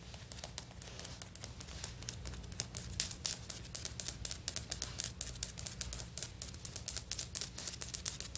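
Long fingernails on both hands tap quickly on solid, stone-pattern ceramic floor tiles. The result is a fast, uneven run of dozens of sharp, bright clicks that stop dead with no ring, over a faint low hum.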